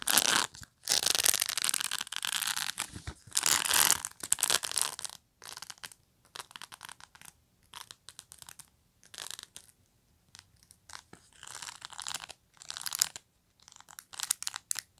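Long natural nails scratch across the tips of the dense, short plastic pin bristles on the rubbery pad of a black rectangular pet brush. The sound is a bright, crunchy, crackling scrape in irregular bursts, starting with longer loud strokes and breaking into quicker, softer scratches with short silences between them.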